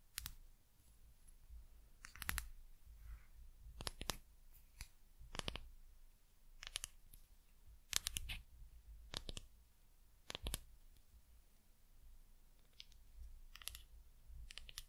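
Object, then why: Small frosted glass dropper bottle. Long nails tap and scratch a small frosted glass pipette dropper bottle with a label, held sideways, on both the glass and the label. Quiet, irregular bursts of sharp, bright clicks and brief scratchy swipes stand out against a low, soft background rumble. Each tap cuts off almost at once with no ringing.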